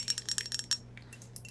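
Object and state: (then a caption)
Crystal ashtray. Fingernails tap a large crystal ashtray in ten quick, separate clicks. Each tap gives a bright, tinkly glassy clink with a high ringing tone that dies away almost at once. The taps are strongest in the first 0.8 seconds and softer toward the end.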